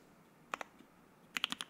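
Fingertips type on a white Keycult No.1/60 60% mechanical keyboard with Soho switches, an FR-4 plate, and white and black PBT keycaps, resting on a desk mat; the board is solid with a hollow switch housing. Seven short, bright clacks centred around 3 kHz are heard: a quick pair, then a rapid run of five, each stopping almost instantly over a quiet background.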